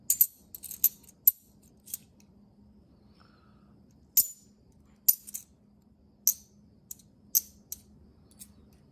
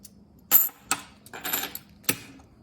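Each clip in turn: First: Bright, clipped coin clinks tumble out, and among them is a hollow-sounding trick half dollar. Second: Several bright, high clinks as half dollars drop onto each other, each ringing briefly with a thin top note.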